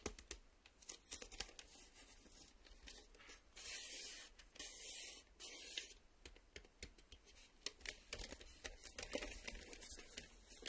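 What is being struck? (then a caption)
Cardboard VHS cassette sleeve. Fingertips and nails tap and scratch a closed, printed cardboard VHS tape sleeve, probably with the cassette inside. Quick, sharp taps alternate with longer bursts of bright, dry scraping hiss, all soft and high-pitched with almost no low end.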